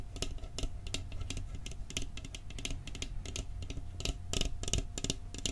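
A round, flat, hollow and apparently empty metal cookie tin with a printed Christmas scene on its lid is held in both hands beside the microphone and tapped quickly with fingertips and nails on the lid and rim. The result is a fast, uneven patter of short, dry, tinny clicks with bright edges that die away almost instantly, over a steady low hum.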